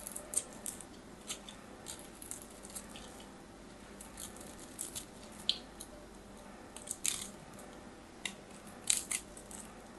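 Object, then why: Soap bar carved with a metal knife blade. A solid orange bar of soap held in the hand is carved and scraped with a metal craft knife blade, sending crumbly shavings falling. Quiet, bright scraping and crisp crunching cuts come in irregular bursts over a low, steady hiss, with a few sharper clicks standing out.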